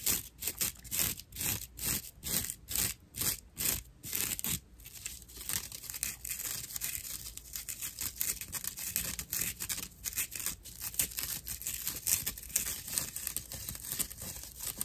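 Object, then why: Dry natural loofah sponge. A dry natural loofah pad, held upright in both hands, has its rough fibers scratched and rubbed with nails and fingertips. It begins with a quick run of separate, evenly spaced scratchy strokes, then turns into continuous, dense, rapid scratching. The sound is bright and crackly, with most of its energy in the high range.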